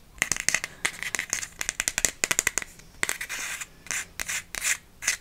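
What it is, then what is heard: Cardboard gift card holder. A TK Maxx gift card in a thin red cardboard holder is scratched and tapped with long nails. Quick, bright, crisp taps come in rapid clusters, broken by a few longer, hissy scratching strokes. Each sound is dry with almost no ring.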